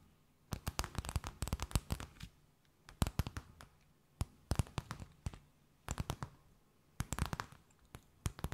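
A thin, empty, clear plastic bag is held between both hands and tapped, scratched and crinkled with long nails. Clusters of sharp, dry crackles and taps ring out bright across the range, with little low rumble, each burst dying away almost instantly. Brief quiet gaps separate the groups.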